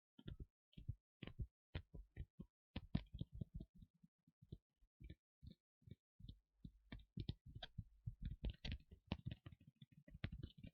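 Fingers tap and scratch on the leather parts of a Rey cosplay costume, chosen because leather sounds are nice. A quick, uneven series of soft, dull, low thumps is heard, some with faint scratchy brightness on top. Each tap dies away almost at once, with no ring.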